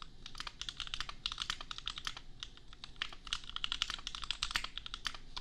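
Fast fingertip typing on a $250 compact custom mechanical keyboard with Gateron Milky Yellow switches and red and pink plastic keycaps. A rapid, steady stream of bright, short plastic clacks with almost no ring, centered around 3 kHz, over a faint low hum.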